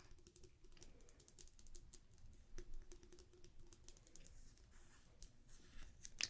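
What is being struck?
Wax-filled glass candle jar.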